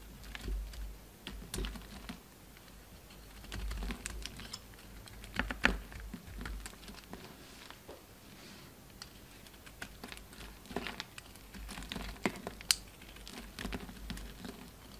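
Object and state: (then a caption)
Soap bar being carved. A utility knife carves and scrapes chunks off a solid orange bar of soap held in the hand. Quiet, irregular crisp scrapes and sharp clicky cuts snap out over a faint low hum, each one very short with almost no ring.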